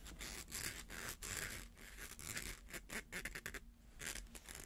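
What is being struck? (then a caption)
Plastic coil toy. Fingernails scratch along the ridged coils of a small, hollow, coiled rainbow plastic slinky held in both hands. The result is a run of quick, bright, raspy scratching strokes in uneven bursts over a steady low rumble.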